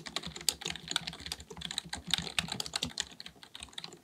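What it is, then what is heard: Plastic computer keyboard being typed on. Fingertips of both hands type rapidly on a black full-size plastic computer keyboard resting on a desk. The result is a quick, steady run of sharp, bright plastic key clicks with almost no ring after each tap.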